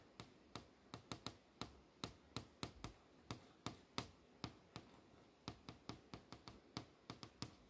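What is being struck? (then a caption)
LCD monitor screen. Long nails tap and trace along the surface of an LCD monitor screen displaying a poster, a solid panel. About 25 short, dry, clicky taps with very little ring ride over a faint hiss, some landing in quick clusters.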